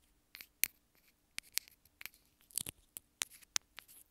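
Long acrylic nails tap and scratch along a small white plastic inline remote and mic on a wired earphone cable, its small hollow housing held between the fingers. About twelve sharp, dry, bright clicks sound in quick succession, with faint scratchy rubbing between them and almost no low end. Each tap stops instantly with no ring.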